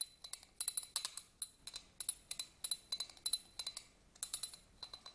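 A black pen-like tool scratches across the pyramid studs of a small, hollow, empty yellow glass votive candle holder held in the hand. About thirty quick, bright, irregular clicks and clinks follow one another, each with a faint high glassy ring that dies away almost at once. There is almost no low end.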